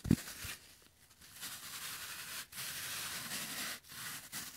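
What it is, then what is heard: Floral foam block. A hand-sized rectangular block of green floral phenolic foam, solid and porous with a crumbled top edge and possibly moistened, is held close to the microphone while latex-gloved fingertips press, squeeze and scratch it. A brief low thump opens the clip, followed by soft, steady crackling and scratchy, hiss-like rustling, broken by a couple of short pauses.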